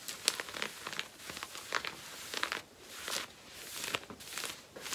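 Long painted nails scratch worn black cotton denim jeans at the front hip and back waistband. The result is a run of dry, bright, rasping strokes and crinkly scrapes, mostly high in pitch with almost no low end. The strokes come in quick, uneven bursts, some soft and some sharper.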